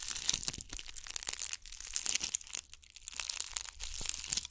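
Long nails scratch a gold bugle-bead covered ball held beside the microphone. The result is a dense, bright, crackly crunching full of sharp little clicks and rustles that fluctuate in intensity. There is almost no low end and no ringing after each scrape.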